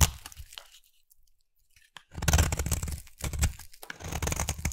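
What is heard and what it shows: A utility knife blade scrapes a solid, partly carved oval pink bar of soap, peeling off crumbly shavings. Soft crunchy scraping fades into a near-silent pause, then returns as louder, dense crunching strokes with a deep, thudding body and a bright, gritty edge. The strokes are short and dry, with almost no ring after each.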